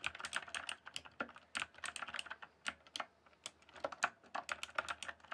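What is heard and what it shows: Fingertips type densely on a rainbow-backlit mechanical keyboard with plastic keycaps, producing a rapid, uneven stream of sharp, clicky keystrokes. Each clack is short and bright, centered around 1.5 kHz, with almost no low end and quick decay between strokes.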